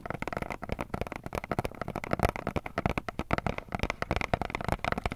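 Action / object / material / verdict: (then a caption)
tap / small cardboard box / cardboard / none. Fingertips and nails rapidly tap and scratch the surface of a small, hollow, printed cardboard box with pen drawings, held in both hands. The result is a dense, uneven run of short, dry knocks and scratchy crackles that stop almost instantly, with a faint hollow ring around the mid-range.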